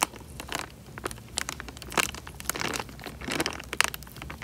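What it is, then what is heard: Water-filled plastic bag. Thumbs squeeze and crinkle a small, clear, thin plastic bag full of water, shifting the water inside. Bright, dry crinkles and sharp crackling snaps come in quick bursts over a faint low background, with each snap cutting off almost at once.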